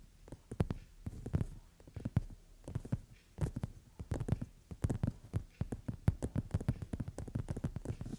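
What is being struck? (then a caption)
Padded leather seat. Long nails rapidly tap and scratch on a brown leather padded sofa seat. The result is a quick, uneven stream of soft, dull, low thuds with scratchy rustles between them. Each tap dies away almost at once.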